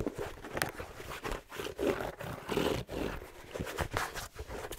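A red plaid fleece-lined slipper with a black rubber sole is held sideways while fingertips rub and scratch across its sole and side. A soft, uneven scratching texture is broken by sparse light taps, heard as brief sharp ticks against the steady rubbing.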